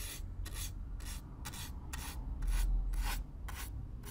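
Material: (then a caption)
Cardboard. A stiff black-bristle brush scrapes across the surface of a hollow brown corrugated cardboard box in close-up. It makes nine rhythmic bright, raspy strokes, evenly spaced, over a steady low rumble.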